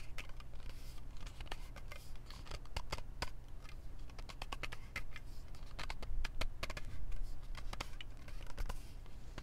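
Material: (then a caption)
Aluminum. A standard-size aluminum Mountain Dew drink can is gripped in both hands and tapped and scratched with long nails and fingertips. The result is a dense run of sharp, bright clicks and ticks over soft scratching, set against a steady low hum.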